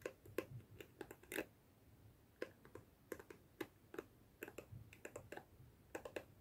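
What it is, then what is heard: Plastic hairbrush bristles flicked. Long fingernails scratch and flick the dense plastic bristles of a hand-sized black plastic detangling hairbrush held in both hands. Quiet, irregular bursts of sharp, dry plastic clicks with a bright crackly edge and a slight tone near 340 Hz stop almost instantly, with a soft scratchy hiss between flicks.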